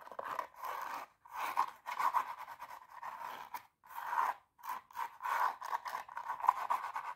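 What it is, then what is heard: Glitter fabric high-heel shoe scratched with nails. Long nails scratch the glitter toe and upper of a hollow, empty silver glitter pump with a black lining, held close. The result is a series of dry, raspy scratching bursts centred around 1 kHz, separated by brief pauses.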